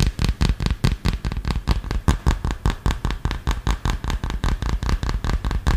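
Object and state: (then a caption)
Smartphone in a hard plastic case. Long fingernails tap fast on the back and edges of a smartphone in a solid dark green hard plastic case, held upright in front of the mic. About 29 short, dull, low-heavy clicks come in a quick, uneven rhythm. Each tap stops dead with no ring.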